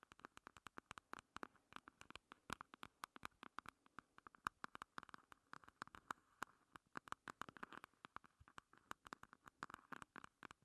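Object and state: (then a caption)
Plastic makeup compact tapped with nails. Long red nails tap and scratch a small, closed, hollow pink plastic makeup compact with a heart relief as it stands on a table. A quick, irregular stream of sharp, dry clicks with almost no ring is heard, each carrying a hollow plastic tone centered around 1.2 kHz, with soft scratching in between.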